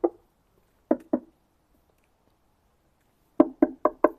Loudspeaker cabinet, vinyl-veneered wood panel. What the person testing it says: ça sonne un peu creux donc en fait la caisse la qualité de fabrication des caisses reste voilà assez assez basique